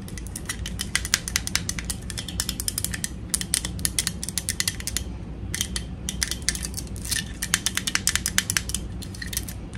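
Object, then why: Small plastic toy teapot. Long nails tap rapidly on the sides and on the sticker of a small, hollow, pink plastic toy teapot held in the hands. The taps are dry, bright and clicky, with almost no ring, and they come in quick bursts with short pauses between them. A steady low rumble sits underneath.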